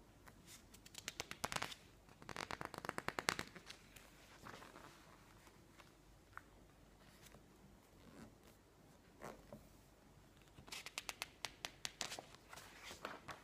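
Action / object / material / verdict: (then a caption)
scrape / glossy paper magazine / glossy paper / none. Fingertips slide across and grip the glossy pages of a thick glossy paper magazine lying open on a table, turning them slowly. Bursts of sharp, bright crinkling clicks and paper rustling come in three clusters, separated by quieter stretches of soft sliding.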